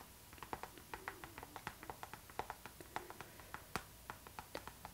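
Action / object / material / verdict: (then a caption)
tap / clear PVC zipper pouch / PVC plastic / none. Long nails tap and scratch the glossy surface of a clear pink PVC zipper pouch, a transparent pink vinyl bag held up close. About 25 quick, crisp plastic taps land in an irregular rhythm, each dying away almost at once, with a tonal click near 750 Hz and a bright edge. Faint scratchy rustling fills the gaps.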